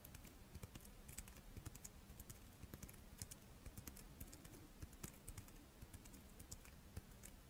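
A palm-sized, character-shaped double monaka, a crisp rice-wafer shell filled with chocolate, is held in both hands and scratched and tapped with long painted nails. Quiet, rapid, dry clicks and taps with short bright edges sound over a soft scratching texture and a faint low hum.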